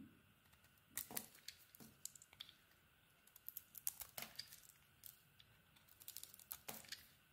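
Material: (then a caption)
Soap. A metal utility blade shaves and carves a solid white soap bar with a blue snowflake pattern. Quiet, bright, crisp scraping and crackling bursts come in clusters, each cut ending almost instantly with little low end.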